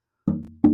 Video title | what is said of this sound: Wayne Henderson Guitar Auction/Benefit | tapping on the back of it and you can hear it resonate and sound